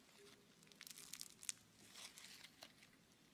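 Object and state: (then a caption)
Bead-filled foam clay being squeezed. A small, soft, solid lump of red bead-filled foam clay (Floam) is held in both hands while fingertips squeeze, knead and pull it apart. It gives off quiet, bright, crinkly crackling in short bursts, with the sharpest snaps in the middle of the clip. There is almost no low end.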